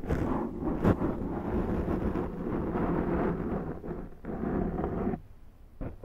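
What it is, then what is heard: Foam microphone windscreen being scratched. Long nails scratch slowly across the top and side of a large round black foam windscreen on a Zoom microphone. The result is a deep, muffled, continuous rustling rumble heavy in the low end with almost no high content. It briefly dips quieter near the end before resuming.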